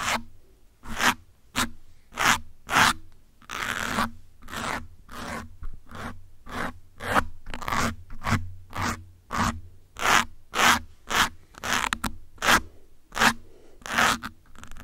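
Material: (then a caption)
Foam. Several metal pins held in the fingertips scratch the top and side of a soft grey foam windscreen on a black microphone. About 25 short, dry scratching strokes come in a steady rhythm, each a bright, crackly rasp that stops almost at once. A faint low hum sits underneath.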